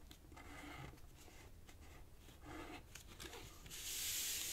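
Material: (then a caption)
Paper. A thin light-green origami paper strip is folded on a black cloth table while fingertips and nails press and rub its creases flat. Soft, dry rubbing and scraping strokes come in short bursts, mostly high and papery with a faint low rumble underneath. Near the end the sound turns into a louder, brighter, steady hiss.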